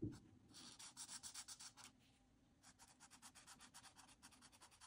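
A marker nib is drawn and rubbed in quick strokes along the wavy frame edges of a flat white paper coloring sheet printed with line art. Two runs of rapid, crisp, scratchy strokes, separated by a brief pause, give a bright, dry rubbing rasp at a quiet level.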